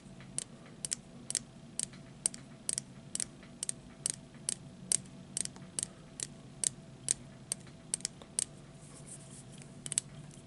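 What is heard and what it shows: A small, hollow plastic disposable lighter with a metal hood is held in the fingers and tapped with fingertips and short nails, and it is partly hidden by the hand at the end. A quick, irregular series of sharp, bright, dry ticks comes about twice a second, each dying away instantly. A faint low background hum runs underneath.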